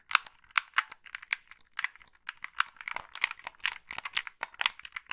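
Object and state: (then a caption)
Plastic game controller. Long pink nails tap the buttons and shell of a hollow black plastic Xbox-style gamepad, producing around 25 quick, dry clicks with light scratching between them. The taps are bright and short, centered near 1.3 kHz with no low end, and stop dead.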